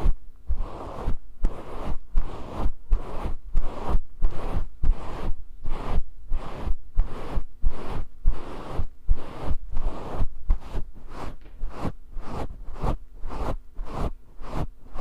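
Fingers rub and scratch the long fibers of a grey faux fur windscreen on a microphone. It makes a steady run of rhythmic, scratchy rustling bursts over a deep, booming low rumble, with a faint steady hum underneath.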